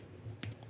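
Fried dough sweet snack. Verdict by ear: Crisp.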